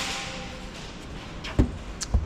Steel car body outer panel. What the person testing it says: 문을 닫을 때도 그렇고 이렇게 둥탁한 소리가 나야 되는데